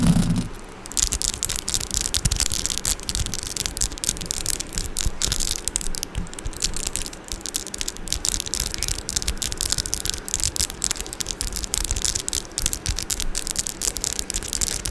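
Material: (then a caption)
Metal. Long orange acrylic nails tap and scratch the metal mesh grille of a Blue Yeti microphone, up close. A dense, continuous stream of rapid scratchy clicks and taps with bright hiss over a low, boomy thump runs steadily throughout.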